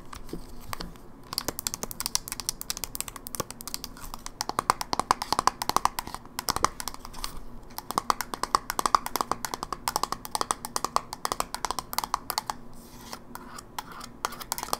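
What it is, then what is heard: Plastic handheld game console. A closed, silver plastic GameBoy Advance SP, a small handheld game console with a hollow electronic casing, is held in the hand and tapped quickly with long natural fingernails on its lid and edges. The result is a dense, rapid stream of sharp, dry clicks with a hollow mid-range tone around 1.1 kHz and bright edges. Each tap dies away almost instantly over a quiet background.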